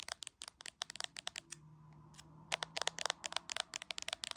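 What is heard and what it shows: Long acrylic nails tap quickly on a hand-sized, solid iPhone in a clear plastic case, seen in a mirror, and briefly come near the camera lens at the end. About 22 sharp, bright clicks sound with almost no ring, broken by a short quiet pause in the middle with only a faint low hum.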